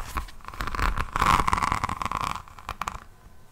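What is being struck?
Resin rhinestone notebook cover.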